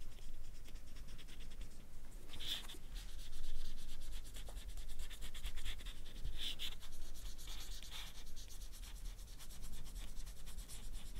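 A permanent marker is rubbed in repeated strokes over the lower half of a whole, solid, ripe banana's peel as it lies on a black mat. The result is a steady, soft, dry rubbing and scratching with faint bright streaks over a low, dull rumble.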